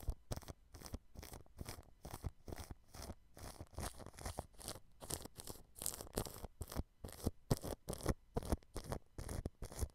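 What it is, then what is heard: Cling film over a microphone, brushed. A thin, fine-tipped paintbrush brushes across clear cling film stretched over the grille of a white dome microphone. Quick, uneven strokes produce soft, crinkly, scratchy swishes with a low, muffled rumble, repeating at a fast, irregular pace.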